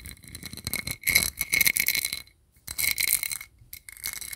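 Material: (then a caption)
Metal. A round, hand-sized, flat gold-colored disc with a raised sunburst pattern, likely a metal lid or coaster, is held close to the microphone and tapped and scratched with fingertips and nails. Quick bursts of bright, crisp tapping and rattling scratches carry a thin metallic ring near 2.2 kHz that dies away almost at once, with almost no low end. Brief pauses break the sound up.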